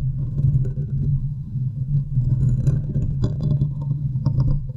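Long nails and fingertips scratch and tap on top of the hollow, domed metal wire-mesh grille of a large silver USB condenser microphone. A dense, boomy rumble of scraping fills the low end with a steady low hum, while quick taps add short, sharp, brighter ticks, especially toward the end.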